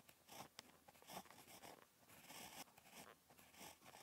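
A ballpoint pen tip scratches across a flat, lined paper notebook page while handwriting. Soft, dry scratchy strokes come in irregular bursts with bright hiss and little low end, and short gaps between words.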